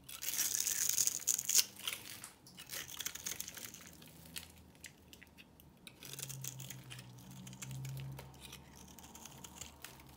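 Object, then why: Bar of soap shaved with a knife. A knife blade shaves and scrapes flakes off the textured surface of a solid, rectangular, hand-sized purple soap bar held in one hand. Bright, crisp crunching and scraping strokes are loudest in the first two seconds, then continue as softer, rapid, uneven scrapes for the rest of the clip.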